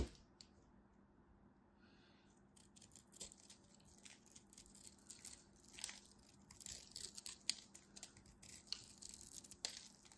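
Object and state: Bar soap being cut and scraped.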